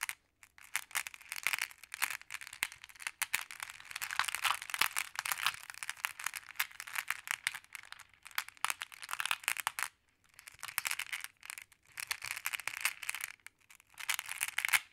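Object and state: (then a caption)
Glass decorative pebbles. Small solid glass pebbles in a wooden tray are tapped and stirred with a wooden stick, while hands with long nails press and scratch across the pile. The result is dense, bright clicking and crunchy rattling concentrated around 2.6 kHz, with almost no low end. It comes in uneven bursts separated by brief near-silent pauses.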